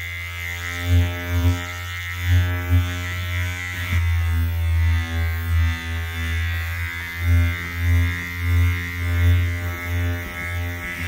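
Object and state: Nothing is struck.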